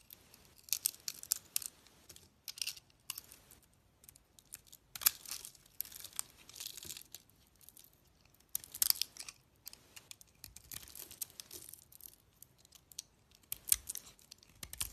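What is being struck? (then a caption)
Solid soap bar carved with a blade. A utility knife blade scrapes and carves a solid cream soap bar with a pink coating and a cream core, held in the hand. Bursts of dry, bright scraping and crisp shaving come in irregular clusters separated by short pauses. The cuts are mostly high-pitched, with almost no low end.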